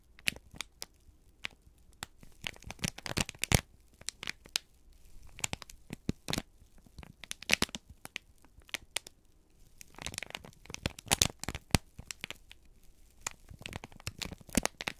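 A folded, crinkled sheet of brown kraft paper is held in both hands and squeezed and crumpled with the fingertips. It makes dense, dry crackling and crinkling with sharp, bright snaps scattered throughout. The bursts come in clusters, with brief quieter gaps between them.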